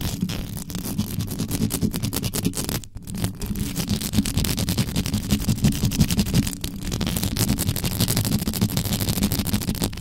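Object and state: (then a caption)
Metal microphone grille scratched. Extra-long yellow acrylic nails scratch fast with both hands across the mesh grille of an uncovered, standing black metal USB condenser microphone with a hollow body. The result is a dense, continuous stream of rapid scratches, heavy in low rumbling boom with a thin bright crackle on top, briefly dipping near the 3-second mark.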